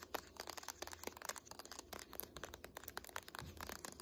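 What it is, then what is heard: Hardcover book spine. Long nails tap rapidly on the dark laminated spine of a thick "Art History" hardcover textbook standing on end. The result is a quick, steady stream of short, dry clicks and light scratchy ticks with no ring, over a faint low hum.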